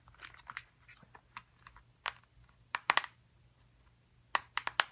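A small, hollow printed cardboard box for a dinosaur excavation kit is tapped with long acrylic nails, first while held up and then while resting on the table. The taps are quick, dry, crisp clicks centered in the midrange with bright edges and no ring. They come in scattered clusters, the loudest bursts arriving near the middle and end of the clip.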